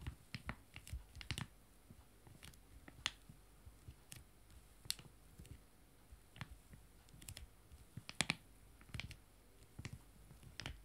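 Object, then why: Foil-laminated wet wipe sachets. Two joined small, full foil-laminated wet wipe sachets lie flat while one hand taps them with fingertips and nails. The result is an irregular series of quiet, sharp, dry clicks and light crinkly taps with bright edges and a soft low thump beneath. Each tap dies away almost instantly.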